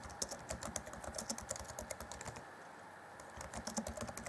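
Fingertips of both hands type rapidly on the black plastic chiclet keys of a grey Acer Chromebook C20 (2014) laptop keyboard deck. A quick run of short, dry, bright clicks and taps with almost no ring thins out into a brief lull in the middle before the fast typing picks up again.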